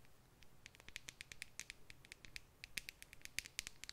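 Long nails tap and scratch a small clear plastic tube full of red glitter held in both hands. About 26 quiet, sharp, bright clicks and ticks come in an irregular patter over a soft high hiss, each dying away instantly with no ring.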